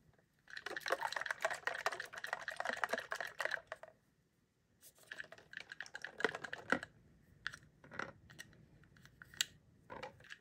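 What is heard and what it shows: Fingertips and nails tap and rub the wall and gold plastic cap of a hand-sized, hollow, pink clear plastic Disney Princess Color Reveal tube that holds water and a doll. A dense flurry of quick, bright plastic clicks runs for about three seconds, then stops briefly. Sparser taps, scratches and rubs follow, each dying away almost at once.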